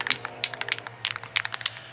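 A metal spray paint can is shaken again to mix the paint, its loose mixing ball rattling inside with about a dozen sharp, bright metallic clicks over a faint low hum. The ball moves freely, as it should, once it has come loose from the bottom of the can.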